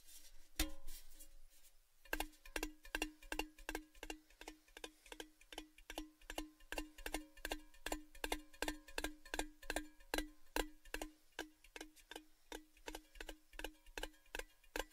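A large, hollow orange Baileys tin tube, held upside down close to the mic, is tapped with fingertips. After a single tap and a brief pause, a steady run of quick, light taps follows, each giving a short hollow metallic tone around 350 Hz with a bright, ticking edge that dies away almost at once.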